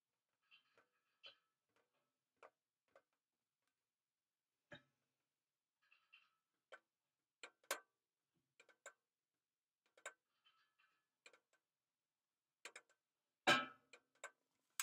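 Long nails and fingertips tap the textured surface of a pink embossed flat plastic case held close up, giving quiet, rhythmic tick-like taps. Each tap is a short, bright click that dies away quickly, with a single louder, fuller tap near the end.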